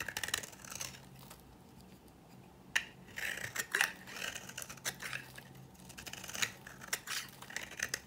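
A metal blade cuts and scrapes a dry, old green bar of soap held in the fingers, shaving it into flaky, powdery curls. Crisp, bright scratchy strokes and sharp crackling snaps come in uneven bursts, separated by brief quiet gaps.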